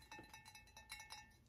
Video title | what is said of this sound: I Filled 3 Boxes For $120 At This AMAZING Rummage Sale! | it sort of sounds like metal it sort of sounds like pottery